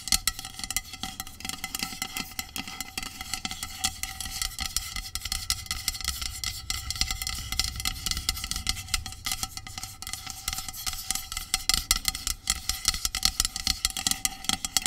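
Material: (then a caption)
Aluminum. Long pink nails rapidly tap and scratch along the length of a medium, hollow aluminum dry shampoo aerosol spray can resting on a blanket. The sound is a dense stream of quick, dry clicks and scratchy strokes with bright, high metallic tones that die away almost instantly, over a faint low rumble.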